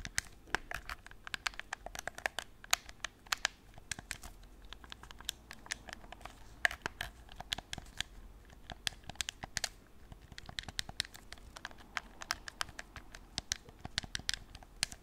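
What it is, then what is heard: Plastic game controller. A white, hollow, hard plastic PS4 gamepad is held in both hands while its buttons and sticks are pressed and clicked and its surface is scratched with fingertips and nails. Quiet, rapid, sharp clicks and taps sound over a constant dry, bright scratching rustle. Each click stops almost instantly with no ring.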